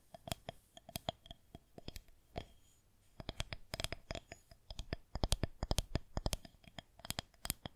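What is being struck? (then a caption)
Plastic rolling pin. Long fingernails on one hand tap and scratch across the top of a solid white plastic rolling pin held horizontally. The result is bursts of quick, sharp, dry clicks with a faint bright ring, broken by a short quiet pause before a denser, louder run of taps.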